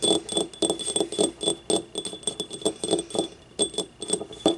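Long nails tap the rim and outer wall of a small, hollow, empty yellow glazed ceramic ramekin used as a paint cup, with paint stains inside. The quick, uneven run of light clinks has a low-mid body near 340 Hz and thin, bright ringing overtones. Each tap dies away almost at once.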